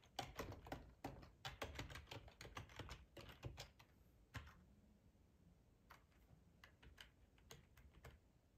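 Fingertips of both hands type on a black plastic, full-size ergonomic split keyboard resting on a cloth tablecloth. About thirty short, crisp key clacks come in an irregular rhythm, with a dense flurry over the first four seconds. Slower, sparser taps follow after a brief pause, each with a soft low thud and almost no ring.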